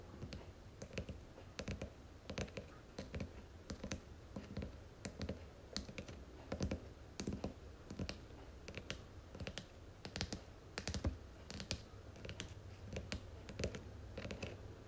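Long fingernails tap along the gilt-lettered spine of a red cloth hardcover book held on its side. They make a steady, irregular run of quick, dry clicks, each with a soft low thump beneath a crisp tick. The taps stop short with almost no ring.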